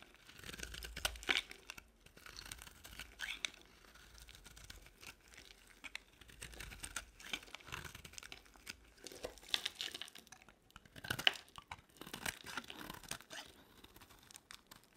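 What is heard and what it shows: A box-cutter blade scrapes a solid pink bar of dry soap held in the hand, shaving off brittle curls. Quiet, bright, crisp scraping and crackling come in repeated short strokes with little low end.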